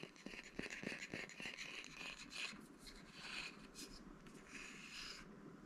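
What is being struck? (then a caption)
Small bamboo wood box. A small, flat, light, hollow bamboo wooden box or holder is held in the hands and tapped and scratched with fingertips and nails. Soft, dry taps with very short ring mix with continuous bright, hissy scratching at a quiet level.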